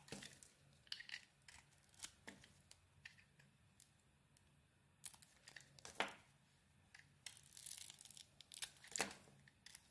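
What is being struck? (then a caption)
Hand-sized bar of soap. A small metal blade peels and carves a hand-sized, solid pink bar of soap with a purple coating. The result is quiet, dry, bright scraping and crisp little cuts that come in irregular bursts with soft pauses between them.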